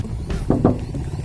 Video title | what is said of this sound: Mobil Irit Murah dan Bandel : REVIEW DATSUN GO+ PANCA Tahun 2014 (PART 1) | Kalau dilihat dari ketukannya memang agak tipis ya, setara dengan mobil-mobil LCGC yang lain